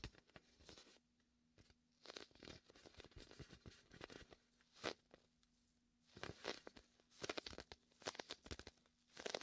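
A large red and white inflated vinyl beach ball is pressed by a palm and fingertips, which peel off the sticky vinyl surface. The result is bursts of crackly, tearing sounds with bright, high crinkles, separated by short quiet pauses.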